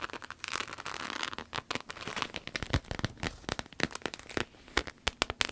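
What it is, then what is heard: Vinyl wallet, scratched and tapped. A red croc-embossed vinyl wallet is handled, then laid on a table and scratched and tapped with long nails. A bright, crinkly rustling of the textured vinyl gives way to a quick, uneven series of sharp, dry clicks and taps that stop almost instantly.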